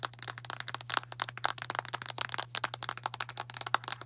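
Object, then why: Plastic bottle full of tablets. Long nails rapidly tap the blue cap and sides of a medium translucent plastic Tums antacid bottle full of tablets. The result is a fast, irregular stream of short, bright clicks and light rattles with almost no ring, some taps carrying a faint tone near 1.3 kHz. A steady low hum runs underneath.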